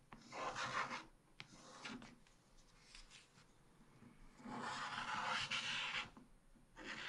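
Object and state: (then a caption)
Scratch-art paper page being scraped. A wooden stylus scrapes across the black-coated page of a small spiral scratch-art book, uncovering the colourful print beneath. Bright, raspy scratching comes in bursts, with loud strokes at the start, softer scraping through the middle, a long loud stretch near the end, and another burst starting as the clip closes.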